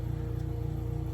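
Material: Nothing is struck.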